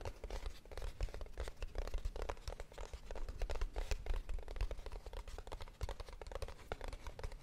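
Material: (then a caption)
Cardboard. A small, hollow kraft cardboard box, held in both hands, is tapped and scratched with long nails. Rapid, dry taps mix with papery scratching and crinkling over a soft, low, hollow thump. Each hit dies away almost at once.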